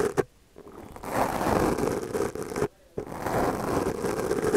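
The bristles of a small purple plastic brush, held in the fingers, brush and scratch across a black foam windscreen on a microphone held in the other hand. A sharp tap and a short silence give way to a steady, close, muffled scratching rustle centered in the low mids. It cuts out briefly for a moment near the end, then resumes.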